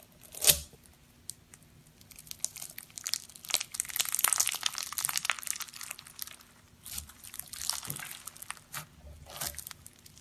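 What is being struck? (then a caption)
Slime packed with polystyrene foam beads. A palm-sized ball of purple slime packed with small polystyrene foam beads and topped with glitter is pressed with thumbs, then stretched and kneaded by bare fingers on a grey surface. The solid, pliable mass gives off quiet, bright, crackling crunches and tiny pops in dense bursts, with a sharper squish near the start and brief gaps between handfuls.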